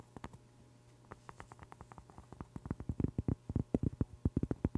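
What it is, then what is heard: Cork board. A large, flat, round cork board, thin and solid, is held near the microphone and rapidly scratched and tapped with long pink acrylic nails. About thirty short, dry, muffled taps with a low, soft thud come in an uneven patter. They start faint and grow louder and denser over the last couple of seconds.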